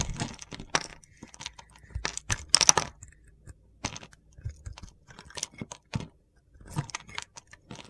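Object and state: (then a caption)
Bar of soap being shaved. A solid mint soap bar with a blue edge, held in the palm, is shaved with a metal box-cutter blade, giving off crunchy chips. Quick, dry scraping and crackling bursts come one after another, bright and gritty with little low end, the loudest cluster falling near the middle of the clip.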